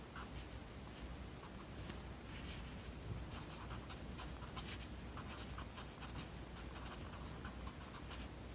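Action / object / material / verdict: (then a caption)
scrape / graphite pencil on lined paper / paper / none. A yellow wooden pencil writes continuously on a page of an open lined paper notebook, its graphite scratching in a steady stream of soft, bright, papery strokes. A faint low hum runs underneath throughout, and the level stays quiet and even from start to finish.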